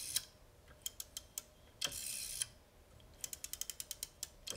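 Fingertips turn the metal and plastic dial and finger stop of a vintage black rotary desk phone, with a bakelite/plastic body and hollow housing, resting on a wooden table. Sharp, bright ratcheting clicks come in a scattered series, then a brief whirring sweep as the dial spins, followed by a quick run of crisp clicks.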